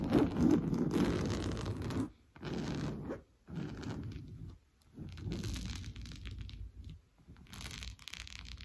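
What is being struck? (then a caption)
Coarse-weave fabric sofa cushion. Fingernails scratch fast across an orange coarse-weave fabric sofa cushion, making a rapid, rough, dry scraping with a rustling, tearing texture. The scratching comes in several sustained bursts separated by brief pauses, loudest at the start, with its energy mostly in the low and middle range and very little high brightness.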